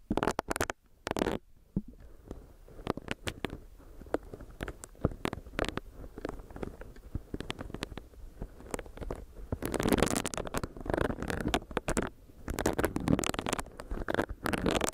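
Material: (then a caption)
Silicone. A small, solid pink silicone facial brush is tapped and scratched with long nails while its bristle pad is pressed against the microphone. The result is a dense run of soft, dry clicking taps and scratchy rustles, with louder, fuller bursts of rubbing around the ten-second mark and again toward the end.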